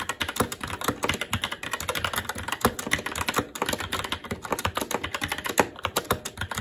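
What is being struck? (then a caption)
Plastic mechanical keyboard with metal top plate. Fingertips of both hands type continuously on a SteelSeries Apex 7 TKL mechanical keyboard with red linear switches, plastic keycaps and a metal top plate. The result is a rapid, steady stream of crisp, bright plastic clacks, each dying away almost instantly, with a few louder key strikes standing out.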